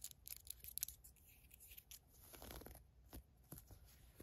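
Long nails scratch the ribbed waistband of green fleece sweatpants, then fingers handle the white drawstring. The result is quiet, bright, rapid scratching and scraping bursts, followed by softer rustling and a few sharp clicks.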